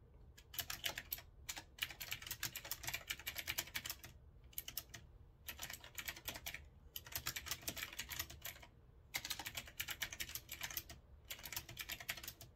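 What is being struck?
Retro-style mechanical keyboard with round keycaps.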